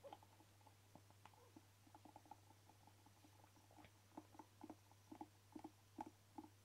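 A hand-sized hollow black rubber air blower bulb, held in both hands, is tapped and scratched with short fingernails. It gives soft, dull, quick taps with brief scratching over a steady low hum. The taps grow louder and closer together toward the end.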